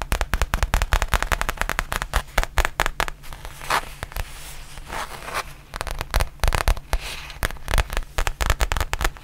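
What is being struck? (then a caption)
Flat faux leather zippered pouch. Long painted nails tap and scratch a flat black faux leather zippered pouch that is soft and hollow. Rapid, dense bursts of crisp taps with a low, hollow thump give way midway to a quieter stretch of soft scratching before the quick tapping returns.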